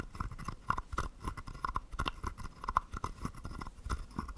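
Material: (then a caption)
Wood. A wooden stick scrapes along the ridged back of a small, hollow, carved wooden frog guiro. It makes a quick series of dry, ratcheting clicks with a woody tone around 1 kHz, over soft low knocks. Each rasp stops almost at once, with no ring.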